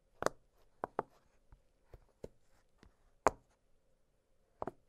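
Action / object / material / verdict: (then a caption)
tap / silicone pop-it fidget toy / silicone / none. Fingertips press the bubbles of an octagonal blue silicone pop-it fidget toy, making several soft, quiet pops spaced irregularly. Each pop is short and dry, with a hollow tone around 650 Hz, a faint bright tick, and a near-silent pause between pops.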